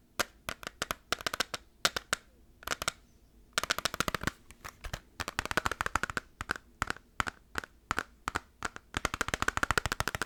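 Fingertips tap quickly on the plastic case of a PS2 Final Fantasy game, a case being compared against a PS1 case. The taps come as rapid clusters of sharp, dry clicks separated by short pauses, each dying away almost instantly. They have a bright, hollow plastic tone centered around 1.4 kHz.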